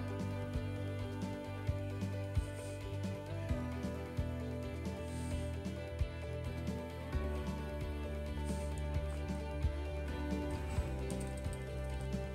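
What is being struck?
Nothing is struck.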